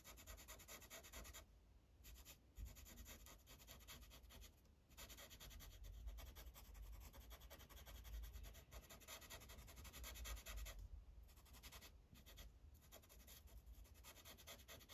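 A blue Sharpie marker's felt tip is rubbed in coloring strokes across a thin paper coloring page resting on a clipboard. It makes a steady, dense scratchy swishing with a bright hiss over a low rumble. Brief pauses break the strokes now and then.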